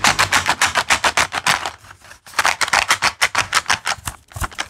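A small cardboard box full of metal paper clips is tapped with fingernails, then shaken so the clips rattle inside. The result is a fast, uneven run of short, bright, crisp clicks and rattles with very little low end, broken by a brief quiet pause midway.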